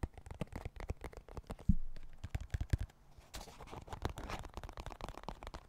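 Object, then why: Plastic card deck box. A small, dark blue, hollow plastic card deck box is held in both hands close to the mic and tapped quickly with fingertips and nails. The result is a rapid, irregular run of dull, low-heavy clicks and knocks, with one louder thump partway through. After that the tapping turns into a softer, scratchy rustle.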